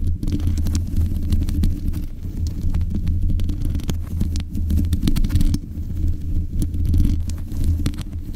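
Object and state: Metal microphone grille.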